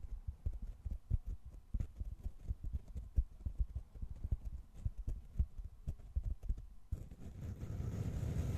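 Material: Foam.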